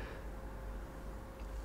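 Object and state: Nothing is struck.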